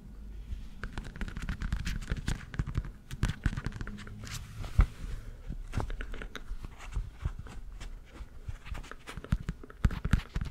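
Long, thin red rubber dishwashing gloves worn on both hands are rubbed and squeezed glove-on-glove close to the microphone, without touching it. A steady, low-heavy rubbery rubbing and squeaking runs throughout, broken by many short, sharp crackles and pops that die away instantly.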